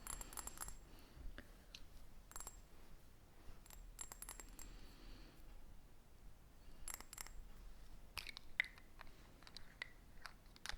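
Light tapping on a Cool Water perfume bottle, one with a bulky body and a big pinch at its bottom, produces many quick, bright clicks. The clicks come in scattered clusters with short pauses between them. Each click dies away almost instantly over a faint low background hum.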